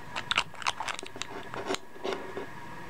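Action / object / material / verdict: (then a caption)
scrape / small glass perfume bottle with metal screw cap / glass, metal / none. Fingertips twist a cylindrical metal screw cap on and off the threaded glass neck of a small, hollow, dark glass skull-shaped perfume bottle. The result is a series of short, bright grinding and clicking crunches over a quiet background. Each sound dies away almost instantly.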